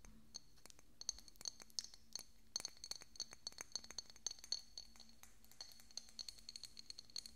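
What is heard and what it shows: A small, hollow, decorative pink glass bottle with a cork stopper, held beside the microphone, is tapped with fingernails in quick, irregular bursts. Each tap gives a short, bright glassy clink with a high ringing tone that dies almost at once, over a faint low hum.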